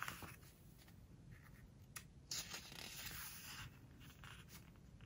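A fingertip and nails rub and scratch along the glossy paper page of a large open hardcover home decoration book, then the page is turned. Soft, dry, bright scratching and rustling rise in bursts over a low rumble, with a sharper crisp swish just after two seconds as the page moves.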